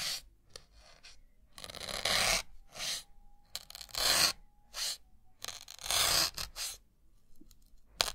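A thin metal needle is repeatedly stabbed into a white solid melamine foam block held in the fingertips. Each stab makes a bright, dry, scratchy crunching burst, coming in uneven bursts with quiet gaps between them. A short sharp click comes at the end.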